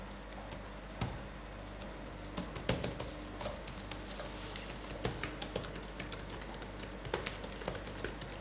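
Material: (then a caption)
Plastic. Latex-gloved fingertips tap on a dirty black laptop keyboard with plastic keys, then type with both hands. Sparse soft taps give way to quick, dry plastic clicks that come faster and denser toward the end, over a steady low hum.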